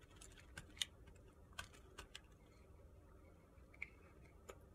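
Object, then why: Bar of soap cut with a blade. A utility-knife blade carves curls off the side of a narrow, solid, pale pink soap block held in the hand. Eight sharp, bright, crisp clicks and scrapes pop out at irregular intervals, each dying away almost instantly over a faint, low background hush.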